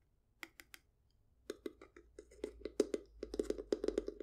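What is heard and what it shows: A small hollow wooden treasure chest with a domed lid and metal latch, held in hand, is tapped and scratched with long acrylic nails. A few sparse taps open, then a rapid run of sharp, dry clicks with a hollow low-mid body and bright edges follows, growing denser and louder.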